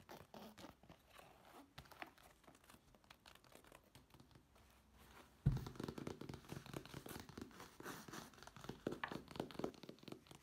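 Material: Fabric.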